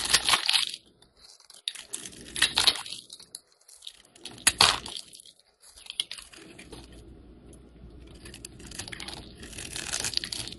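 A metal blade scrapes and shaves thin flakes off the face of a hand-sized, solid oval yellow bar of soap held in the hand. The strokes come as bright, crisp, crunchy scraping bursts separated by quiet pauses. The clip ends with a longer, steadier stretch of softer scraping.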